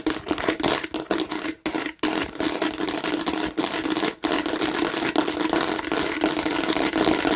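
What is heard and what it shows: Long nails scratch fast across the bumpy, seeded front and sides of a hollow plastic watermelon-shaped bottle, giving a dense, bright, crackly rasp. The scratching runs almost nonstop, with brief gaps near 1.6–2 seconds and just after 4 seconds before it resumes at a steady level.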